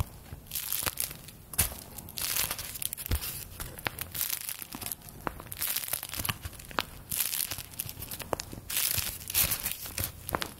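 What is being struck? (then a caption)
Small stack of thin paper bills. A small stack of thin handmade paper play-money bills is held in both hands and crinkled and flicked with long dark-painted fingernails and fingertips. Soft bursts of bright, papery crinkling swell and fade, broken by many sharp, dry flicks and taps that stop instantly with no ring.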